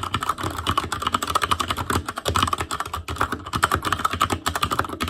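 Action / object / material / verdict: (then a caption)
tap / mechanical keyboard with plastic keycaps / plastic / none. Fingertips of both hands type rapidly on a full-size ASUS ROG Claymore Core mechanical keyboard with plastic keycaps on Cherry MX Red switches, a metal plate, a hollow case and RGB backlight. A dense, steady stream of short plastic clacks carries a hollow mid-range ring around 1.3 kHz. Each tap dies away almost instantly.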